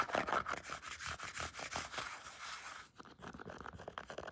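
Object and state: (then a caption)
Faux leather lifting belt scratched with nails. Long painted nails scratch and rub a wide, black, padded faux leather weightlifting belt with white stitching. Quick, uneven, bright, raspy strokes run close together for about three seconds, then after a brief drop the scratching resumes softer and finer.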